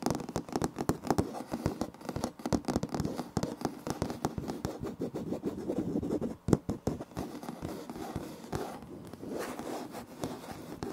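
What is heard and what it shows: Fingertips and short nails of both hands scratch and tap a flat, solid light wood-grain laminate floor plank with a visible seam, right in front of a Tascam recorder. Dense, dry scratching mixes with many sharp, short taps that die away at once, and the energy sits mostly in the low mids.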